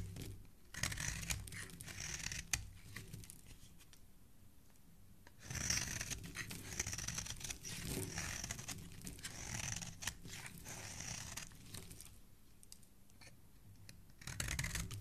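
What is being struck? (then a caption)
Bar of soap. A metal blade shaves a solid, palm-sized red bar of soap held in the hand, peeling thick curls off its surface. Repeated scraping strokes give dry, crackling shaves with bright, hissy texture over a low rumble. Louder bursts of scraping alternate with quieter stretches.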